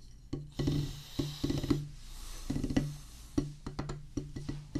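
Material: Rubber.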